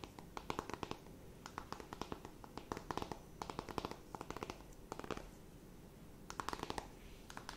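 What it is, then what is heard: Cardboard eyeshadow palette. Long nails tap and scratch quickly on a closed, flat rectangular cardboard eyeshadow palette. Quick bursts of sharp, dry clicks and scratchy rasps come in clusters separated by brief pauses, quiet overall with a hollow mid-range tone.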